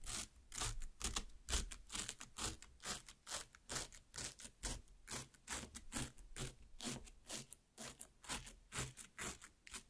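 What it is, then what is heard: Cut watermelon half. Long black nails repeatedly pierce and scrape the soft red flesh of a large cut watermelon half. Quick, moist, bright scratching bursts come about twice a second, each with a dull low thud underneath. The strokes are fairly steady and die away quickly.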